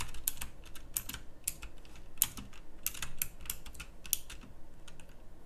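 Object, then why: Mechanical keyboard with round plastic keycaps. A full-size backlit pink mechanical keyboard with round plastic typewriter-style keycaps is typed on continuously by fingertips with long nails. A steady run of short, crisp clicks with bright, high snaps rides over a low background hum. Each keystroke dies away almost instantly.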